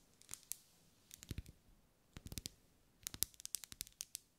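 A lit, solid, medium-size pink ribbed wax pillar candle is held in one hand and tapped on its sides with long light-grey nails. About 18 short, dry, bright clicking taps come in quick bursts separated by brief pauses, some carrying a soft low thud, with no ring after each tap.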